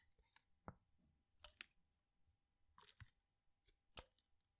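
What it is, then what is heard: Plastic water bottle with water sloshing. A clear PET water bottle with a blue cap, partly filled with water, is tilted back and forth in one hand so the water sloshes inside. About six short, quiet, bright splashes and clicks stand out against a near-silent background, each dying away almost at once.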